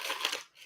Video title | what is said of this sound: M&M's - Make Money with a Millionaire Mindset | hear how crispy and fresh that is. It is still fresh and wonderful.